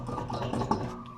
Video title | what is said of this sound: ห้ามใช้ต่อเด็ดขาด,ถ้าเจอแบบนี้,วิธีตรวจเช็ค,ล้อยางลูกปืนช่วงล่าง | ตัวนี้ขันแน่นหรอกครับเป็นที่ลูกปืนข้างในนะ